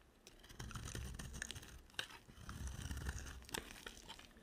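An oval, silver-coated white dry soap bar, solid and held in hand, is shaved with a box cutter blade. It produces a steady run of dry, crunchy scraping and crackling with a low rumble underneath. A few sharper, brighter snaps stand out as the blade cuts through.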